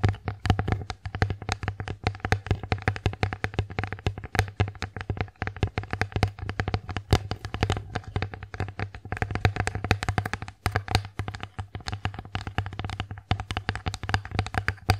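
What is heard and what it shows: Long acrylic nails tap rapidly and continuously on the front of an empty wooden bear-face plate, making dense, short, dry clicks that die away almost instantly. A steady low hum near 100 Hz runs underneath the whole time.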